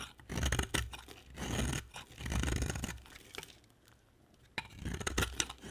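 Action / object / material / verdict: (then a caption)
scrape / bar of soap scraped with a knife blade / soap / none. A utility knife blade, held with long dark nails, scrapes and carves a solid white rectangular bar of dry soap. Dry, crunchy shaving strokes come in repeated bursts with a bright rasp over a low rumble. A quiet pause falls near the middle before sharper cuts resume.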